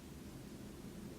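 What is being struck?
Nothing is struck.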